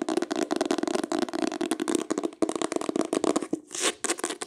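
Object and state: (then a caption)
Hardcover book, tapped and scratched. A green hardcover book with a solid, embossed cloth or leatherette cover is tapped and scratched quickly with long pale acrylic nails. Dense, dry clicks and scratchy rasps run together over a low-mid body, with a brief brighter hissing scrape near the end.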